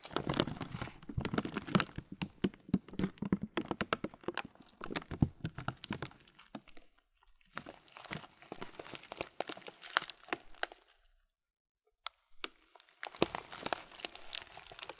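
A transparent thin plastic bag, partly full of oat muesli with raisins, is squeezed and crinkled with fingers. Dense bursts of bright crinkling and crunchy crackles mix with soft low rustles and thumps. The bursts stop briefly around 7 seconds and again for about a second and a half near 11 to 13 seconds before resuming.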